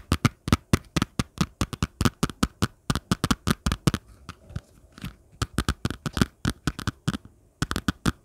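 Long nails scratch and flick along the surface and edge of a thin, flat orange folder cover with a fine ribbed texture, likely plastic. About 38 quick, sharp, dry clicks and scrapes come in fast bursts with a short pause midway, each one bright at the top and thumpy underneath, dying away almost instantly.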